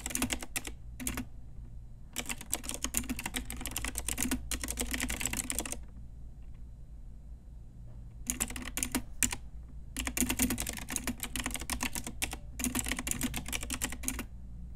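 A full-size pink Ajazz retro mechanical keyboard with round plastic typewriter-style keycaps on a hollow plastic case is typed on with long nails and fingertips. Bursts of rapid, bright plastic clicks and clacks come with a low hollow thock. Short pauses separate the bursts, and a steady low hum sits underneath.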